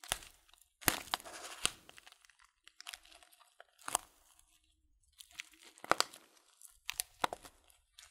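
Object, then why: Clear plastic bag of dried fruit tea. Hands squeeze and crinkle a tall, transparent plastic bag full of loose dried fruit tea. Soft, irregular bursts of crinkling and sharp, bright crackles come and go, with quiet gaps between them. The loose tea shifts with a faint crunch inside the bag.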